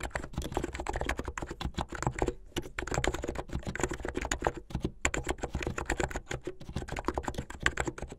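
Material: Plastic.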